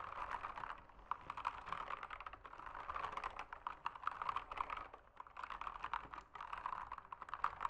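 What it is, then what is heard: Plastic mechanical keyboard. Fingertips type steadily on an RGB backlit mechanical keyboard with plastic keycaps, producing a dense stream of quick, dry clicks centered around 1.2 kHz with little low end. Each keystroke dies away almost instantly, and the rhythm runs on with a few brief pauses.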